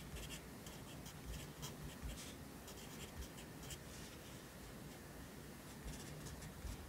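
A yellow pencil writes near the bottom of the right page of an open lined paper notebook resting on a desk. Quiet, continuous scratching of graphite on paper fills the clip, with brief brighter strokes over a steady low hum.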